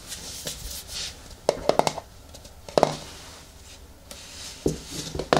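A medium yellow plastic hair-mask jar is held in the hands while long nails tap and scratch its lid top and rim. Short, dry clicks come in quick clusters, with a hollow plastic tone around 630 Hz, between softer, bright scratching and rubbing.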